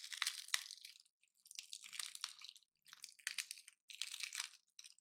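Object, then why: Painted pine cone. A dry, palm-sized pine cone painted gold, with solid woody scales, is held in the hand while fingertips and nails snap and crush its scales off. Bursts of dense, crunchy cracking, bright and crisp with almost no low end, come in several clusters separated by brief silences. The quick, dry breaks die away instantly.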